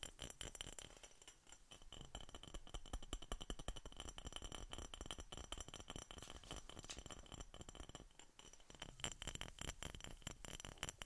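Continuous, irregular tapping on a glass Coca-Cola soda bottle produces quick, bright clinks that ring around 3 kHz and die away almost at once. The taps stay fairly steady in level throughout, with a low rumble beneath them.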